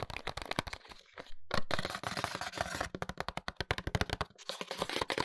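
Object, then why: Small paperboard box with a plastic window holding an oil bottle. A small paperboard box with a window, holding a bottle of hair oil and held upright, is tapped and lightly scratched with fingertips and short nails. The result is a rapid run of dry, crackly taps with quick decay, mixed with scratchy rustling and brief pauses.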